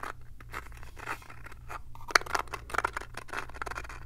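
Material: Wood.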